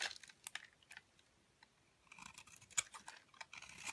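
A wide metal blade scrapes thin shavings across the face of a round black charcoal soap cake held in the hand. The quiet, bright, crisp scraping and crackling comes in short bursts, with a stretch of near silence before it resumes more densely.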